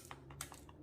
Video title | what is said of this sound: Paris Brest ultra bon et facile | sonne creux c'est que c'est cuit